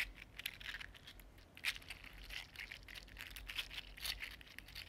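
A small, hollow, articulated 3D-printed plastic fidget slug in purple and green is curled and flexed with the fingers and fingertips. Its segments make a quiet, steady run of dry, bright clicks and crinkly ticks with a few sharper snaps. A faint low hum sits underneath.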